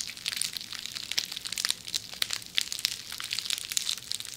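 A hollow, forearm-length roll of red plastic bubble wrap is held in one hand while long manicured nails scratch and squeeze the bubbles right beside a binaural microphone. A steady run of bright, crisp crinkles, scratches and small squeaky pops fills the clip, with sharp ticks that die away almost instantly and no low end at all.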